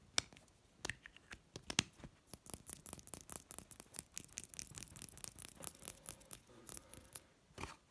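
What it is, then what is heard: Glass serum bottle. A small orange-labelled glass serum dropper bottle with a black pump top, hollow with its contents not visible, lies on a bedsheet and is held, then tapped and scratched with long red-painted nails. Quick, dry, bright clicks and taps come in an irregular stream, mixed with soft scratching and fading almost instantly.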